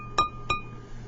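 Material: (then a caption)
Fired ceramic. A finished, glaze-fired ceramic bowl is tapped twice with a finger. Each tap gives a bright, clear ring centered near 1.2 kHz with higher overtones that fades quickly. The bowl has a nice ring, as expected for a fully fired piece of pottery.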